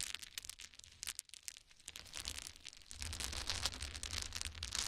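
A pile of small solid wooden cube chips is scooped up in both hands and poured onto a towel, giving a dense, bright clatter of quick, dry clicks and ticks. The rattling grows fuller and louder after about three seconds, with a soft low rumble beneath the sharp, quickly fading clicks.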